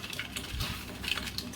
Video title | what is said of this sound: आज गेलो हाॅस्पिटल मध्ये। केरळ मध्ये नवरात्री ची 🤗शाॅपिंग।😋 असे बनवले केळीचे कुरकुरीत उपवासाचे चिप्स | आता आवाज ना अगदी कुरकुरीत येत होता आणि खूप छान झाले होते क्रिस्पी क्रिस्पी